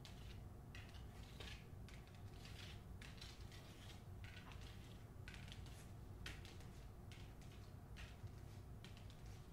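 Long nails tap and scratch the front cover of a hardcover novel with a paper dust jacket, making quiet, bright bursts of scratching and clicking over a steady low hum. Near the end, the book is moved closer to the side.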